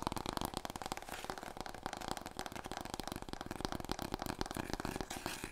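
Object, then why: Long cardboard roll core. Fingernails scratch and tap quickly along a large, long, hollow, empty brown cardboard paper roll core, held first diagonally and then horizontally across the body. The result is a dense, continuous stream of dry, short clicks and scrapes with a hollow resonance around 930 Hz and almost no ring after each tap.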